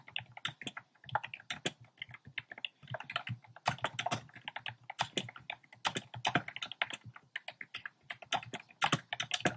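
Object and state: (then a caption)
Plastic mechanical keyboard. Fingertips type fast and densely on a compact plastic mechanical keyboard with round pastel plastic keycaps set in a dark frame. The result is a steady stream of short, crisp clicks and clacks with bright highs and a light low thump, each keystroke dying away almost at once.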